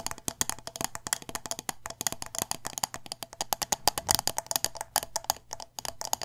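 Long nails rapidly tap the glass sides of a medium glass candle jar filled with wax and topped with a metal lid. The taps come as quick, dry, bright clicks with a faint glassy ring near 830 Hz, each dying away almost at once in an uneven, continuous patter.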